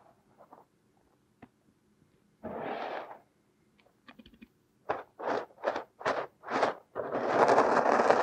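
A thin metal pick scrapes and digs through crumbly purple kinetic sand covering a silicone nose. Faint ticks and a soft, broad scrape give way to a quick run of separate gritty scraping strokes. The clip ends in a louder, continuous crunchy scrape with a bright edge.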